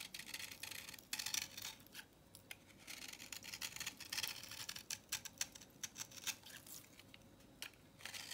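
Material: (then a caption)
Soap. A utility knife blade scrapes the grooved face of a solid, dry, vintage orange soap bar held in the palm, shaving it into powder. Quick, bright, crisp scratching strokes come in uneven bursts with short quiet gaps between them, with almost no low end.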